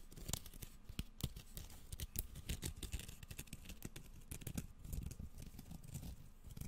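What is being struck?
Bamboo slat sushi mat.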